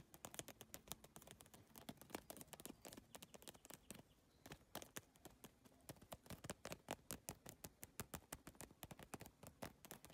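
Long nails tap rapidly and lightly scratch across an iridescent holographic bag covered in geometric triangular PVC tiles. The result is a quiet, fast stream of sharp, bright plastic clicks that die away almost instantly, with soft scratchy rustling between them.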